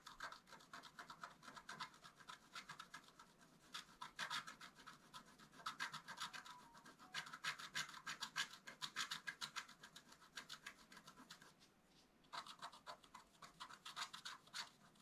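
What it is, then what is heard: Scratch art paper card. A wooden stylus scratches short strokes into a leaf area on a flat, black-coated scratch art paper card. Quick, dry, bright scraping strokes follow one another at an uneven pace of about three per second, with a brief pause near the end before the scratching resumes.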